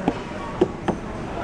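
A watermelon is knocked three times, giving short, dull knocks with a mid pitch around 360 Hz that die away almost instantly over a steady background hum. The knocks lack the deep, vibrating thud of a ripe one, so this watermelon is not ripe yet.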